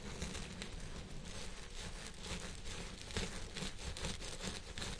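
Fingertips and nails of both hands scratch and rub the fibers on the sides of a purple synthetic fiber wig resting on a head form. The result is a steady, dense crinkling and scratching texture, with a soft low rumble beneath bright, crackly rustles that swell and fade irregularly throughout.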